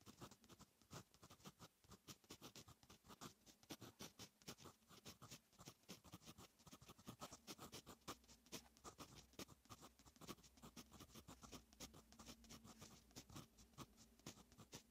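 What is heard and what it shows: A fine metal fountain pen nib writes on a lined paper notebook page. Quiet, rapid scratchy strokes follow one another continuously for about 15 seconds, each a short, dry, bright scrape with a faint low hum underneath.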